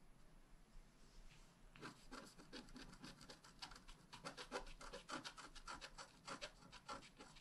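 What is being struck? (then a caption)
Wax-coated scratch-art card scratched with a wooden stylus. A wooden stylus tip scratches a flat, black wax-coated scratch-art card, a thin solid page about A5 size lying on a table. After a quiet, faint hiss, a quick, uneven run of short, dry scraping strokes begins, each one a bright rasp with a soft low scuff beneath it.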